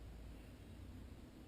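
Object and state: Nothing is struck.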